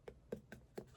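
Chilled ice globe facial rollers, cold from just being taken out of the fridge, are tapped four times. Each short, soft tap has a quick decay and sits mostly in the low-mid range around 200–500 Hz with little high content. The taps are quiet and evenly spaced over about one second.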